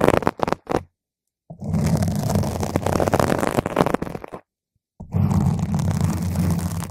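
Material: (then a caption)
Foam. A single long, pointed green acrylic nail scratches a purple spherical foam cover on a microphone from the side and top. A few short scratches give way to long, continuous stretches of dense, muffled scratching, separated by brief silences. The sound is a deep, low rumble with little brightness.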